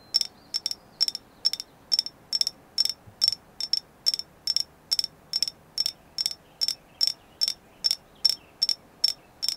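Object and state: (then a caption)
Agate stone carving. A carved agate moon goddess figure is tapped again and again in a steady series of short, clicky taps. Each tap has a bright, high ring that dies away almost instantly, and the figure is confirmed to be agate.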